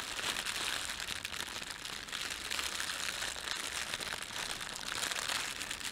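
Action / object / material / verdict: scrape / thin plastic bread bag / plastic / none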